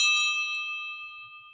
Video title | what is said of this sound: Vintage, Handmade, & Home Decor LIVE Auction - $3 Starting bids! | how's that for a ring it's got a good ring to it